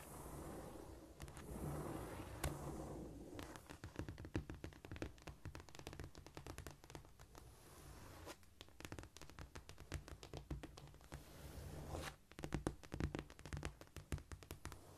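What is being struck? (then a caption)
Cork floor surface. Long painted nails scratch and scurry across a flat, solid cork floor with both hands. The sound is a quiet, dense stream of soft scraping broken by many rapid, dry clicks and taps, with most of the weight low and dull and little brightness. Busier bursts of quick clicking come and go, with a livelier flurry near the end.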